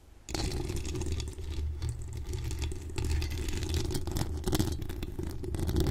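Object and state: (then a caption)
Metal mesh microphone grille being scratched. Long acrylic nails from both hands scratch the hollow steel mesh grille of a pink decorated microphone. After a quiet start, the sound turns into a steady, dense scratching with a deep low rumble around 86 Hz, a bright hissy scraping edge on top, and short clattery ticks that pulse faster toward the end.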